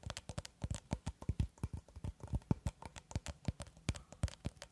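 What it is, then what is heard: Plastic cling film roll. Long red acrylic nails tap and scratch a long, cylindrical roll of clear plastic cling film held horizontally, at one point close to the microphone. A quick, uneven run of soft, dull taps with brief scratchy swipes, weighted toward the low end, each dying away almost at once.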